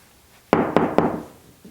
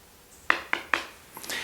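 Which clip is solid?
The second.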